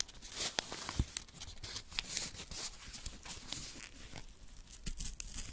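A small strip of thin white paper, held in fingertips with long nails, is torn and crumpled close up. Dense, bright crinkling and rustling fill the clip, broken by short sharp crackles and tearing sounds over a faint low rumble.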